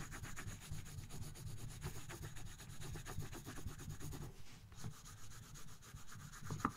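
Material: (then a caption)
Paper. A colored pencil scratches and rubs across a thin paper coloring book page resting on a box, in rapid shading strokes. The strokes come as a steady stream of soft, low, papery scraping with a brief lull partway through before the shading resumes.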